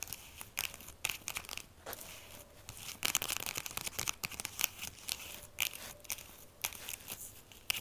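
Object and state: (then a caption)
Burlap soap bag. Long acrylic nails scratch and tap a small, solid-filled jute/burlap drawstring pouch with a bar of soap inside and a paper label band around it. The sound is a fast, dense run of bright, rough scratching and crinkly rasps, broken by sharp little clicks and taps. Each burst cuts off almost instantly, with no ring.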